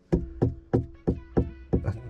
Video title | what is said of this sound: Hyundai Veloster 2013 - Sound deadening inside rear | when i'm tapping around it sounds like a springy sound i'm not sure where it's coming from